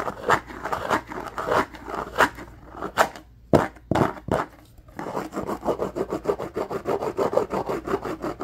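Fingertips and nails rapidly scratch and rub the textured surface of a flat, rectangular, handheld lime-green plastic food storage container lid. Dry, scratchy mid-range strokes come in quick bursts, with a few sharp isolated swipes in a brief lull midway. Then a steady, fast, rhythmic scratching runs to the end.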